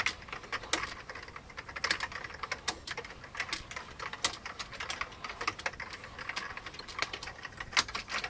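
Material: Plastic.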